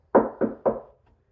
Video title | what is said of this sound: Prevent Resonance with Braces, Gussets and Midrange Chamber in Vintage Speaker Part 7 Jensen CS 315 | so that it doesn't make that that uh resonance that you hear when I'm knocking on it